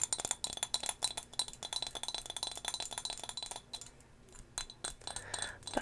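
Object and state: Glass figurine tapped.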